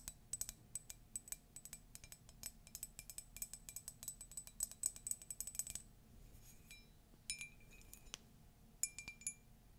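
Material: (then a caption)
Ceramic. A ceramic Disney mug is tapped densely and quickly with bright, short clicks for about six seconds. The tapping then slows to a few sparse taps that leave brief high ringing tones over a quiet background.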